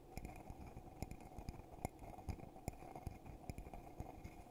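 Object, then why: Glass mug. A hollow red glittery glass coffee mug, held in both hands, is tapped and scratched on the outside with fingertips and nails. Quiet, dull taps with almost no ring land in an uneven run, each with a brief bright click, over a soft, steady scratching rustle.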